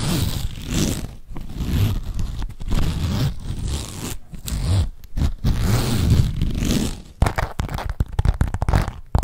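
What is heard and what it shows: A small, hollow black leather zip-around wallet with a perforated pattern is held in the hands and tapped and scratched with long nails. Dense, scratchy rustling and soft, muffled taps fill most of the clip, giving way to quicker, sharper tapping near the end.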